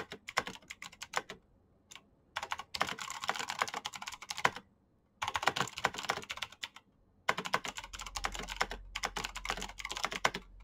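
Fast typing with the fingertips of both hands on a black plastic backlit mechanical keyboard with clicky switches. It produces dense bursts of sharp, bright clicks separated by brief pauses, and a faint low hum is heard under the last few seconds.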